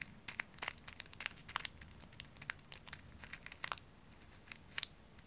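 A small plastic resealable zip-lock pouch full of dry water beads is held up and then laid flat on a palm while fingernails and fingertips tap quickly across its surface. The result is a quiet, irregular patter of crisp, bright clicks and plastic crinkles, each dying away instantly, with a few louder taps standing out over a faint low background hush.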